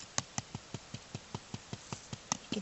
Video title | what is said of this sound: Saveock Water | you can hear the hollow sound underneath